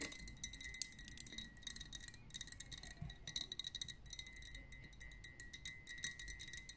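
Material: Glass.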